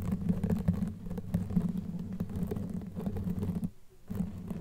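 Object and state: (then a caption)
Knitted yarn microphone cover. Long nails scratch across a black knitted yarn fabric sleeve over a microphone head with both hands throughout. The result is a dense, muffled, low rumbling scratch with little high end. It briefly drops near silence just before the four-second mark, then resumes.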